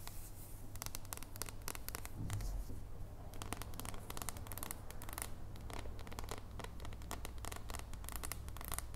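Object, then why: Dark chocolate bar. Long nails tap rapidly on a solid dark chocolate bar held in the hands, first edge-on and then flat. The result is a quick, continuous run of short, dry, bright clicks with almost no ring, over a steady low hum.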